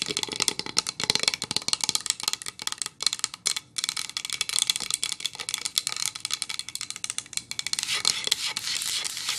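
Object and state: Pine wood board.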